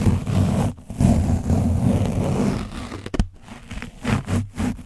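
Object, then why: Foam microphone windscreen coated with dried paint. An orange foam mic windscreen coated in dried paint is scratched and dabbed with the tip of a foam sponge brush, with some hand contact. A dense, low, rumbling scrape runs for about three seconds with a brief break, then gives way to shorter, separate scratchy bursts with quiet gaps between them. The sound is heavy in the low end with almost no bright content.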